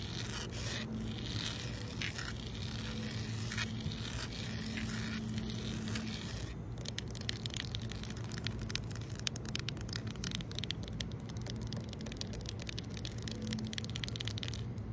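Fingertips and long nails tap and scratch a solid, flat outdoor concrete pavement close to the microphone, producing dry, gritty scrapes over a steady low rumble. About halfway through, the sound turns into a dense run of quick, bright clicking taps that continues to the end.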